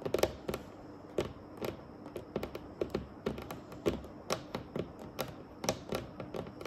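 Long acrylic nails tap and scratch a flat, polished, solid dark wooden table top with both hands. The result is a run of short, sharp clicks with a faint woody tone and almost no ring, over a soft scraping hiss.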